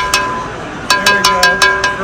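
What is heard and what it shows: A 3D-printed carbon-fiber-reinforced PPS (PPS-CF) plastic bell is rung eight times with a corrected ringing technique: one strike, a pause, then a quick run of seven. Each hit gives a clear, metallic ring centered near 1 kHz with bright overtones that sustain between strikes, so the fiber-reinforced plastic bell sounds like metal.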